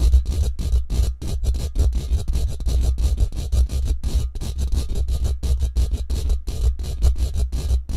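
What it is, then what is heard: Metal mesh microphone grille. Short fingernails rapidly scratch and tap across the woven surface of a hollow steel mesh microphone head. The result is a dense, nonstop stream of quick, dry scratchy bursts, each landing with a deep, muffled low thump, with steady intensity throughout.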